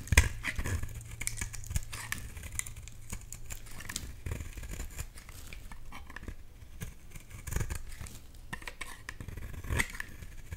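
A box-cutter blade shaves thin slices off a solid orange bar of soap. Quiet, dry scraping and crisp cutting strokes repeat steadily, with bright edges on each pass over a low, steady hum.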